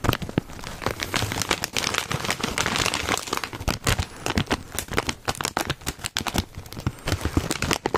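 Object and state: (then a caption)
Foil-lined plastic chip bag. A foil-lined plastic Cheetos chip bag is held by its side seam while fingertips crinkle and scratch it. Dense, sharp crinkles and crackles come in quick bursts across a bright, wide band, each dying away almost at once, with some softer scratching between them.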